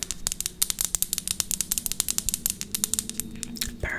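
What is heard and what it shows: A small, thick rectangular glass perfume bottle, partly filled with amber liquid and topped with a metal cap, is held in both hands and tapped and scratched with long acrylic nails. About thirty quick, bright, high-pitched clicks follow one another with almost no ring. A short scratching rasp comes at the end.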